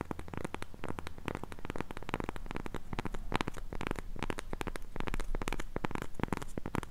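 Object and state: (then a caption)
Cork coaster. Long pink nails scratch and tap the face and rim of a round, flat, solid cork coaster held in both hands. The result is a dense, steady stream of dry, crackly taps and scratches that stop short with no ring, weighted toward a soft low thud.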